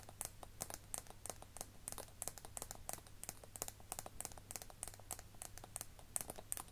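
A small, hollow, rounded pink plastic cosmetic case with a shiny silver collar and a tall metal-look cap is held in both hands and tapped and scratched with long nails. The result is a rapid, uneven series of short, dry, clicky taps with bright, high-pitched ticks, mixed with faint scratching, over a steady low hum.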